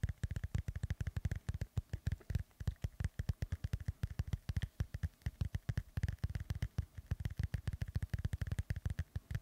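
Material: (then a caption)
Foam. Both hands rub and scratch a black foam windscreen on a microphone with the fingertips. This makes a rapid, steady stream of dull, low, thumping scuffs, each cut off almost at once, with a faint bright crackle on top.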